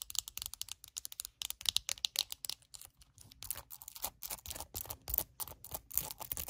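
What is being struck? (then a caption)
Plastic hairbrush with hollow back and plastic bristles. Long acrylic nails rapidly tap the hollow back of a small glossy purple plastic hairbrush and scratch its plastic bristles. The result is a quick, dense run of sharp, bright clicks with crackly scratching between them. The sound is dry and high-pitched, with almost no low end or ring.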